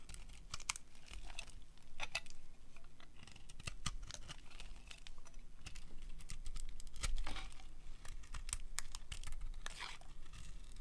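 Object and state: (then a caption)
Dry soap bar being carved. A hand-sized, solid pink bar of dry soap is carved with the edge of a metal blade, shaving off crumbly curls. Rapid, dry crackling scrapes and crisp clicks come in quick bursts, with bright crunchy bits over a steady low hum.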